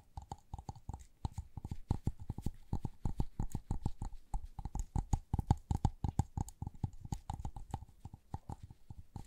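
A small white LED light bulb with a hollow, frosted plastic dome is held in gloved hands and tapped and scratched with long nails. The result is a rapid, irregular run of short, dull plastic clicks and soft scratches, mostly low and thumpy with a faint steady tone in each tap.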